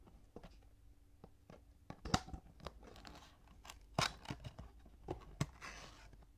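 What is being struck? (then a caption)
Cardboard box. Fingertips and nails tap and scratch along the top panel and edges of a full cardboard Kinetic Sand box lying on its side. Quiet, dry taps and short scratchy, crinkly bursts come in an uneven pattern, with sharper clicks standing out and no ring after each contact.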